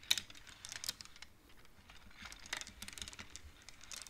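Fingertips and nails slide colored wooden beads along the metal rods of a large wooden-framed abacus, knocking them together. The result is a quiet, irregular scatter of short, bright clicks with very little ring, separated by soft sliding sounds.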